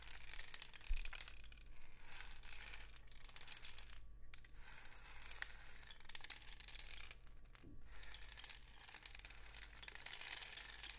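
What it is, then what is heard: Cardboard rainstick. A long, hollow, painted cardboard rainstick is held diagonally and tilted, so the filling inside falls through the tube. It makes a steady, bright, rain-like pattering and crackling that thins briefly around the 4 and 7.5 second marks before resuming. A faint low hum runs underneath the whole time.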